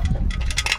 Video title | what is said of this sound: CAUSED OF HIGH RPM - SUZUKI EVERY WAGON DA64W | Nandito sa loob yung bakal ng PCV, tapos yung spring. Maririnig natin yan pag inalog-alog natin dyan.